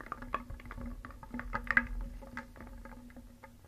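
A wooden spoon stirs small painted solid wooden cones, eggs and discs in a round wooden bowl. The pieces clack against each other and the bowl in a continuous clatter of many pieces, with brief bright knocks over a low hum and the loudest cluster near the middle.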